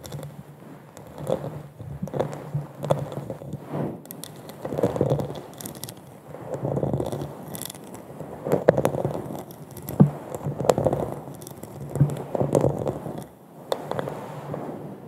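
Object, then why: Textured glass wine goblet. A hollow, empty, textured glass wine goblet is held upside down on the mic while long nails scratch and tap its dimpled glass surface. Irregular scratchy rasps swell and fade over a low hollow hum and a mid-pitched resonant tone, with sharp short taps cutting through now and then.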